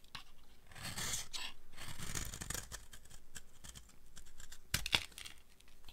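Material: Soap.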